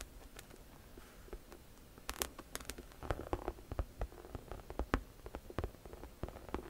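Long nails scratch and tap the front of a hollow pink saffiano leather crossbody camera bag, whose textured surface may be leather or faux leather. Quiet, dry scratching runs under a steady low rumble, broken by short, sharp taps that die away almost at once, some sending brief bright clicks upward.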